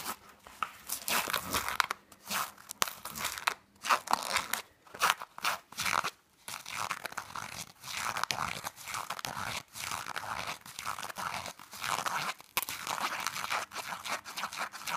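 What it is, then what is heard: Fabric pouch being scratched. Fingernails scratch and rub the textured surface of a black fabric pouch held close up, making dense, crisp crunching and rustling bursts. The sound comes in irregular runs with brief pauses, mostly bright and high with almost no low end.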